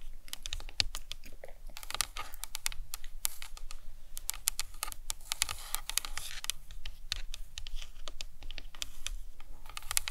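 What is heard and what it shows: Long nails tap and scratch the sides and top of the cranium of a life-size hollow plastic anatomical skull model. A steady stream of rapid, crisp clicking taps with very short decay mixes with light scratching, sounding close and dry and much like fast keyboard typing.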